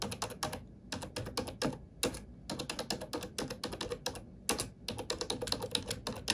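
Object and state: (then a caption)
Plastic computer keyboard. Fingertips and nails type on a black plastic computer keyboard in a steady, rapid run of short, bright plastic clicks with quick tapping key strikes. The keystrokes come in quick bursts with brief pauses, each click dying away almost instantly.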